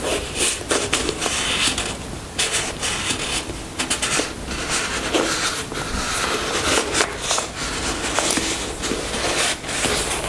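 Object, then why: Soft plastic squeeze tube. Long nails tap and scratch the surface of a white soft plastic squeeze tube of skin cream held in the hands. The result is a steady run of bright, crackly scratching and rubbing, broken by short, dry taps that die away almost at once. There is very little low end.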